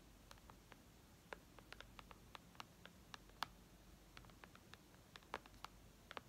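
Long red nails tap on the glass touchscreen of a white iPad lying flat, making a quiet run of many sharp, dry clicks with no ring. The taps come irregularly over a soft, steady hiss and spread from the midrange up into bright highs, with a few landing harder than the rest.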